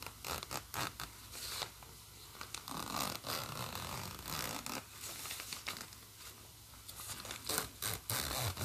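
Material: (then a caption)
Nylon. Fingers zip a black plastic coil zipper with a metal slider open and closed on a green nylon bag, and fingernails rub across the nylon fabric. Repeated bright, rasping zip strokes mix with soft scratchy rubbing at a low, close level.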